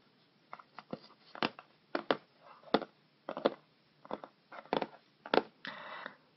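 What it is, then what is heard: Cardboard shipping box. Fingertips and nails of both hands tap and scratch the top and front of a closed, hollow, medium-size teal and white corrugated cardboard mailer box (Beauty Box 5) with a shipping label. An irregular series of short, dry, hollow taps is heard, each dying away almost at once, with bright papery scratching between them and a longer scratching rub at the end.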